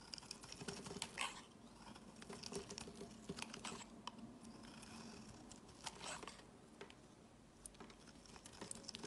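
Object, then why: Bar of soap scraped with a metal blade. A solid, light-blue, palm-sized bar of soap is held in the hand, first pressed on a woven mat, then shaved and scraped with a metal utility-knife blade. Dense, crisp, bright scraping and crackling clicks come in quick bursts. Blue curls of soap fall off.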